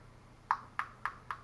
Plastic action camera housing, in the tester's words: you can thump it like so and it doesn't sound like just hollow plastic it sounds solid